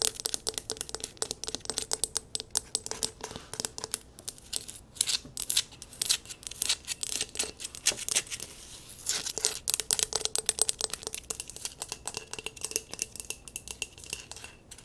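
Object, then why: Glazed stoneware bowl. An empty brown and tan glazed stoneware bowl, held tilted, is rapidly tapped and scratched with long nails on its outer wall. Dense bursts of bright, crisp clicks and scratchy rasps come in quick runs with short gaps, each tap dying away almost instantly. The sound is thin, sharp and dry, with almost no low end.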